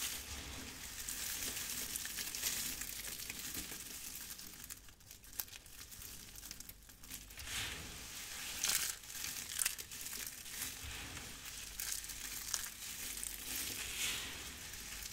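A pile of dried pink and yellow crushed soap flakes is pressed, squeezed and rubbed by fingertips with long red nails. The result is a steady, dry crinkling and crunching with bright, high-pitched crackle and brief louder crunches around the middle of the clip.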